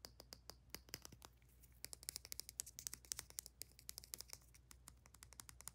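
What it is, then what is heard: Plastic tube with metal cap. Long nails tap quickly over a small plastic bath soak tube with a paper label and a ribbed aluminium cap. The result is a rapid run of dry, bright clicks with almost no ring, in uneven bursts over a faint low hum.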